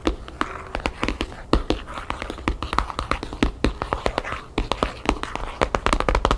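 Long fingernails fast-tap the map-patterned paper cover of a thick ring binder or photo album lying flat on a wooden table. A rapid, uneven stream of short, dry clicks with a dull low thump beneath them, each tap dying away almost instantly.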